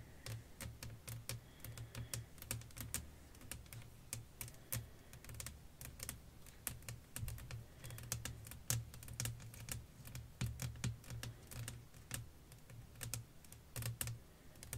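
Long acrylic nails tap a flat, clear glass sheet laid over lace fabric, striking with both fingertips and nail tips. Dozens of quick, irregular, bright clicks patter on in uneven bursts, each dying away almost at once. A steady low hum sits underneath throughout.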